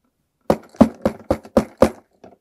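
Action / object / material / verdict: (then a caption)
knock / object in a cloth bag / unknown / hard. A hand knocks on a hard mystery object inside a cloth bag to check whether it sounds hard or soft like a pillow. Seven quick, dull knocks are heard: six in steady succession and a faint seventh after a short pause, with almost no ring. The knocks sound hard, so the object is judged to be hard.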